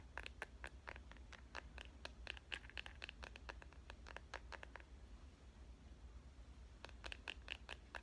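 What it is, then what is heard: Smartphone in clear plastic case, tapped. Long painted fingernails tap quickly on the back of a clear plastic smartphone case printed with avocados, with the phone held in one hand. The taps are short, sharp, bright clicks that come in quick bursts over a low steady hum. They thin out in the middle, then pick up again near the end.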